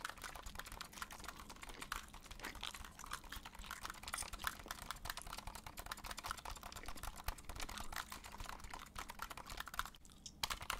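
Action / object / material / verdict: tap / plastic game controller / plastic / none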